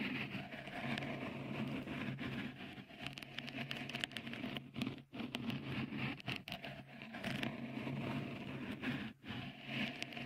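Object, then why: Silicone microphone cover. Fingertips scratch and tap a small, hollow, white, dimpled textured cover, likely silicone, on the right microphone capsule of a Tascam recorder. The result is a steady, dense crackly scratching and patter with a low hum underneath and bright hiss on top. It briefly drops out around the 5- and 9-second marks.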